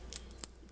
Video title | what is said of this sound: FLATBREAD PIZZA | you can kind of hear how crispy that is